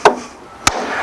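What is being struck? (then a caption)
Wooden raised garden bed board. Two sharp wooden taps land on the top board of a raised garden bed with a tap block, mallet or hammer, driving it down to close the gap with the board beneath. Each tap is a short, midrange knock with a bright edge that dies away almost at once. The taps are spaced a little over half a second apart.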